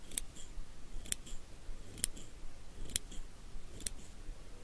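Small steel eyebrow scissors held in the fingers are snipped open and closed repeatedly. Crisp, bright metallic snips come about once a second, each followed by a softer click as the blades part. A low, quiet rumble sits underneath.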